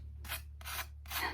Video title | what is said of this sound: 4 cheap, easy and tasty recipies anyone can make! | Can you hear how crispy that is?